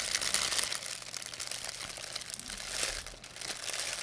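A thin, empty white plastic pharmacy bag is crumpled between fingers with long painted nails. It makes a steady, bright, crackling crinkle that is loudest at the start and again near the three-second mark, with a brief dip just after, and has almost no low end.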